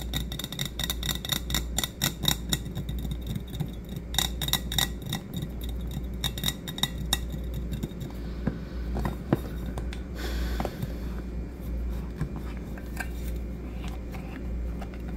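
A light blue painted, hollow stainless steel insulated tumbler with a clear lid is held and tapped with fingertips and short nails, producing rapid, irregular bright clicks and dull knocks that die away almost instantly. A steady low hum runs underneath throughout, and a brief brighter scraping rustle appears just past the ten-second mark before the tapping continues.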